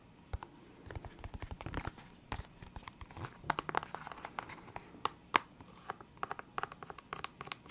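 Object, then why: Clear hard plastic case of felt-tip markers. Fingertips and nails tap and scratch a clear, hard plastic box full of felt-tip pens. Irregular dry, sharp clicks and taps mix with soft scratchy rasps, each hit stopping at once with no ring. The result is a quiet, crisp patter with bright edges and a brighter tap standing out near the middle.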